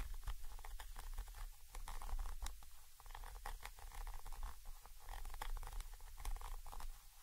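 A thin orange stick held in the fingers scratches and taps the side of a Zoom H5 XY microphone capsule, a small chrome metal body with mesh grilles. Close, muffled scratching and pattering is heard over a heavy low rumble, broken by sharp bright clicks that die away almost at once.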